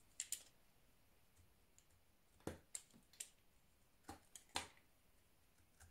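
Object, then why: Soap bar. A scored, round orange soap bar held in hand has its surface shaved and cut with a blue utility knife. About ten short, crisp scraping and cutting clicks come at irregular intervals, each bright and quickly fading, with quiet gaps between them.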